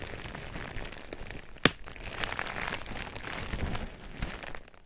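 Fingertips press and scratch clear plastic bubble wrap covering a microphone, making a steady close crinkling and crackling across the clip. About a third of the way in, one sharp, bright pop stands out above the rustle and dies away almost at once.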